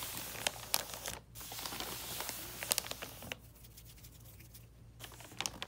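Fingertips and nails of both hands tap and scratch the surface of a flat box wrapped in red "Holly Jolly" wrapping paper. The result is quiet, bright papery crinkling and scratching with sharp, irregular clicks, broken by brief lulls and a steady low hum underneath.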